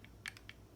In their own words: There is a little bit of a battery rattle, but you have to really shake it